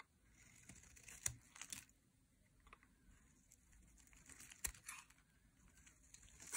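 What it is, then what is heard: Dry soap bar being shaved. A metal blade shaves thick curls off the edge of a dry, solid bright green soap bar. The quiet, crisp scraping and crumbly crackling is mostly high and bright, with a few sharper rasps standing out along the way.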